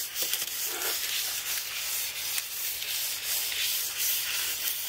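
A black carbon brush is rubbed and swept over the key rows of a white aluminium-framed computer keyboard with plastic keys. It makes a steady, bright, bristly scratching and swishing, almost entirely high-pitched with no low end and small brief peaks as the strokes change.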